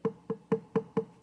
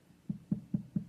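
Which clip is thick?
The second.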